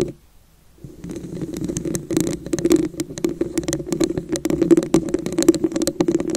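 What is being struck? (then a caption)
Glass vase with ridged surface. Long nail tips tap and scratch the top and sides of a hollow red glass vase with wavy ridges. After a brief quiet start, a dense run of quick clicks and scrapes rises over a low hollow resonance that rings around 330 Hz.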